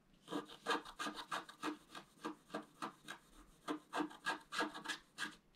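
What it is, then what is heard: Scratch-art card being scratched. A wooden stylus scratches the black coating of a scratch-art card lying on a table, working in the fountain basin area. About twenty short, dry rasping strokes come in a steady but uneven rhythm, each with a bright, scratchy texture centred around 1.2 kHz and almost no low end.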